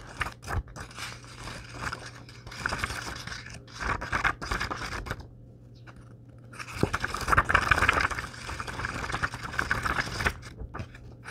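A thick paperback book of Star Wars short stories, held in the hands over a wooden table, has its paper page edges riffled by the thumb in fast, repeated flips. Dry, crisp papery fluttering and scraping bursts come in two busy stretches, separated by a brief quieter pause, over a faint steady low hum.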